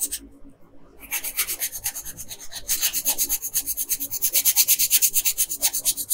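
A pink wooden colored pencil rubs quickly back and forth across a flat printed paper coloring page on a table, coloring in the bow. After a brief near-silent pause at the start, rapid, fairly regular scratchy strokes give a bright, dry papery hiss that grows louder and denser partway through.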